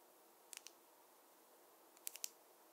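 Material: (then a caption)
Wood. A wooden or bamboo fine-tooth comb is tapped, giving two quick groups of three sharp, dry, high clicks with no ring, over a faint steady hiss.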